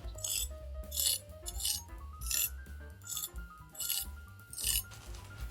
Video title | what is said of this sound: 【乾式熟成鴨】屋企雪櫃都做到!? Dry-aged 14日最完美？鴨皮香脆不皺的秘密！｜中英字幕｜BigBoyRecipe | Let's listen to how crispy the skin is